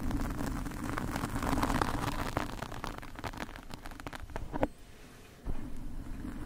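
Metal fork tines scratch and drag across a large black foam windscreen on a microphone from both sides. The result is a dense, rough rustling with many quick scraping strokes and a low, boomy rumble. One sharper scrape stands out near the end, then there is a brief quieter pause before the scratching resumes.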